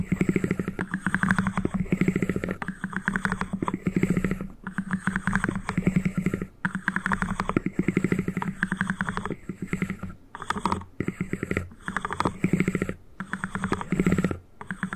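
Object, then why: Small cardboard ring box. Two halves of a small white cardboard ring box, held close to the mic, are tapped and scratched rapidly with fingertips and nails. The result is dense bursts of quick, dry, low-heavy patters and scratches, broken by brief pauses.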